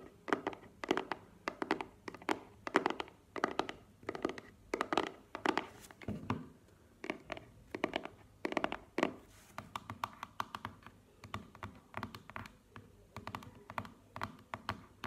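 Long nails tap and scratch the front face of a small, square, hollow, closed black cardboard earbuds box standing on a table. Quick, dry, hollow taps with a mid-pitched body come in bursts with almost no ring. In the second half the taps turn lighter and faster, mixed with soft scratching.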